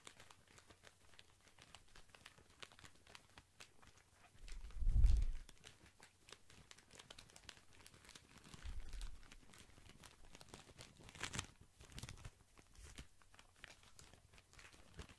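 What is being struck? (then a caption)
Pack of cotton pads wrapped in plastic film. Fingers squeeze and scratch a tall white pack of cotton pads wrapped in crinkly plastic film, making soft, steady crinkling throughout. A louder, deeper squeeze swells around five seconds, with smaller surges near nine and eleven seconds.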